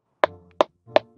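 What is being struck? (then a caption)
Durian fruit. A durian fruit at an orchard is tapped to judge its ripeness, giving three short, dry, wood-block-like knocks. Each knock has a hollow mid-pitched tone that dies away almost at once.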